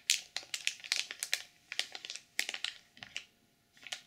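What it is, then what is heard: Sequin-covered journal in plastic wrap. Long purple nails scratch and tap the cover of a black sequin-covered journal sealed in clear plastic film, with the hands at one point resting at its edges. A quick run of bright, crinkly scratches and sharp taps comes in short bursts with brief pauses between them, each fading almost instantly. The sounds thin out and grow quieter toward the end.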